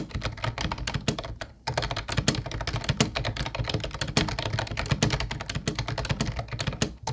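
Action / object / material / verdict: tap / plastic keyboard / plastic / none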